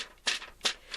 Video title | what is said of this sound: Geisha Paper Doll Bookmark: Stamp School! | you hear how crispy that paper is it's very thin yet durable